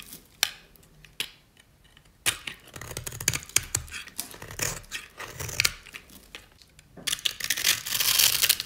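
A solid rectangular bar of dry white soap, held in the hand, is scored and scraped with a metal utility-knife blade. A few sharp, isolated clicks give way to bursts of dry, crunchy scratching and crumbling. The sound is bright and high with almost no low end, and it builds to a denser, louder scrape at the end.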